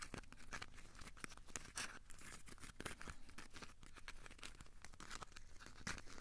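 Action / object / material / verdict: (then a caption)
scrape / crumpled aluminium foil ball / aluminium foil / none. A small, solid, crumpled ball of aluminium foil is squeezed and scratched with the fingertips. It gives a quiet, steady stream of dry crinkles and sharp crackling ticks with bright, hissy edges over a low rumble, each tick dying away almost instantly.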